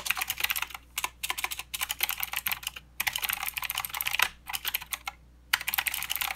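Fingertips of both hands type continuously on a plastic mechanical keyboard with clicky blue switches and plastic keycaps. Bright, crisp clicks come in quick bursts separated by brief pauses, each keystroke snapping off almost instantly with almost no low-end thump.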